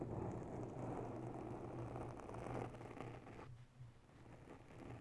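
Long nails of both hands scratch the top of a round grey foam ball windscreen covering a mounted microphone. The result is a dense, muffled, rumbling scratch with a steady low hum. It eases off around three and a half seconds, then continues more softly.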